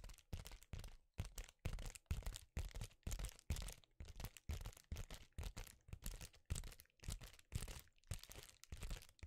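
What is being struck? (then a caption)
Metallic foil bubble mailer. Fingers scratch and crinkle the surface of a flat, empty silver foil bubble-insulated envelope (a metallic foil bubble mailer) held close to a microphone. It makes a steady run of short, irregular crinkling bursts about two per second, each with a deep, thumpy low end and a crackly high fizz on top. The bursts stop cleanly between strokes with almost no ring.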